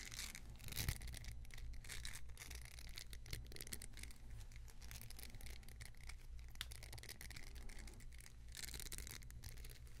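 A long grey-green silicone spatula with a solid, flexible head and handle is held in one hand near the microphone while fingertips and nails rub and scratch along the head and handle. The result is a continuous, brushy, scratchy texture with bright hiss over a steady low hum, at an even, quiet level throughout.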